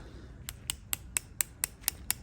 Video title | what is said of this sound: W211 E55 AMG Engine Frontend Disassembly (Part 3) | It's sort of the consistency of like a watch, like a plastic watch strap. Like it's quite thick and dense, but still a little bit rubbery.